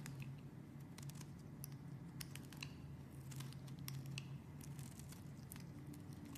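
A metal blade shaves and cuts thin curls from a palm-sized beige solid bar of soap held in a hand with long dark nails. Soft, crisp scraping and crunching ticks flicker throughout, bright and brief, over a steady low hum. The level stays quiet and even for the whole clip.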